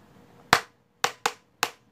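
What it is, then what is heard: Plastic ruler tapped. A plastic ruler is tapped four times in a one-two-one pattern: one tap, a quick pair, then one more. Each tap is a short, bright click that dies away fast.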